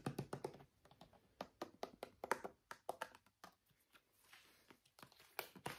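Fingernails tap quickly on the sides and label of a small, filled, brown plastic argan oil bottle, a travel mini size. About twenty-two short, dry, quiet clicks come in uneven bursts, each stopping almost instantly with no ring.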